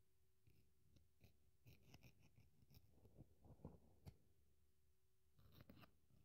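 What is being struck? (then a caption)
Polyurethane foam sponge scraped and torn with a metal blade. A metal craft knife digs into, scratches and tears the dry pink wavy foam side of a polyurethane kitchen sponge, with torn pieces scattered on the table. The result is quiet, irregular bursts of soft crackling, scraping and ripping, mostly low and muffled with faint bright ticks, separated by brief near-silent pauses.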